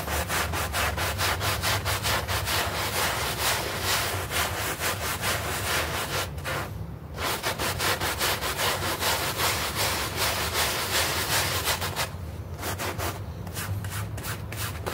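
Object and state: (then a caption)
Synthetic turf doormat being scrubbed. A bristle hand brush scrubs back and forth across a small, soapy, green artificial-grass synthetic turf doormat. The strokes make a steady, rhythmic, bright rasping, with a low rumble underneath. The scrubbing pauses briefly around 6.5 and 12.5 seconds, then continues a little softer toward the end.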